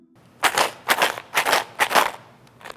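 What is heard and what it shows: A box holding twenty small stones is shaken in bursts, giving four bright, dense rattling surges of stones striking the inside, like a homemade shaker, followed by a faint start of a fifth. Each burst is a crisp, gritty clatter with little low end, separated by brief near-silent gaps.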